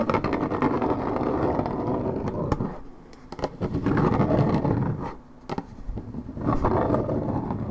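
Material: Coated paperboard.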